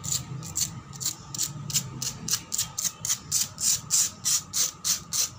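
Long black pointed nails and fingertips scratch and tap quickly across a solid, cracked concrete floor. About 19 fast, bright, gritty scrapes follow one another at a brisk, slightly uneven pace, with short decays and a faint low rumble underneath.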